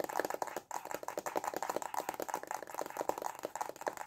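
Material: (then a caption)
Cardboard. A small, hollow, white printed cardboard stylus pen box is held in both hands and tapped rapidly with short fingernails and fingertips. The result is a quick, continuous patter of dry, hollow clicks with a papery midrange body, almost no low end, and virtually no ring after each tap.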